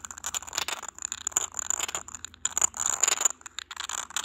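Fingertips and short nails tap and scratch the raised surface of a small, hollow, cylindrical white glazed textured glass vase with a grey geometric print, held in the hand. The result is a dense, irregular run of bright clicks and scratchy rasps with a faint high glassy tone and almost no ring or low end.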